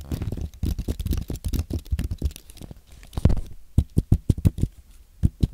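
Fingertips type on a compact white Apple keyboard made of aluminium and plastic. The keys give short, dull, low-pitched taps in an uneven rhythm: a dense burst at first, then sparser, sharper strokes with a few louder presses near the end.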